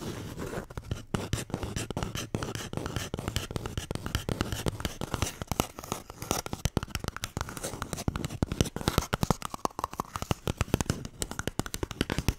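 A toilet paper roll is tapped and scratched in a steady, rapid stream of dry, papery scrapes and soft thuds that have no ring. The sound is muffled and weighted low, with brief bright scratchy edges, and it grows sharper and more clicky toward the end.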